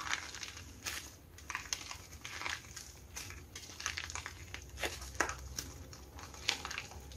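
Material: Plaster.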